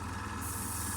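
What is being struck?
Nothing is struck.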